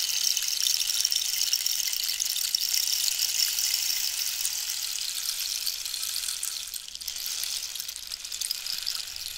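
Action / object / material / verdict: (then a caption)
shake / dried cactus rainstick / cactus wood / none. A long, hollow wooden rainstick made of dried cactus with a holed surface is held diagonally while long pink nails tap and scratch the wood. A steady, bright, rain-like hiss of dense fine crackles fills the clip, with almost nothing in the low range, easing slightly near the end.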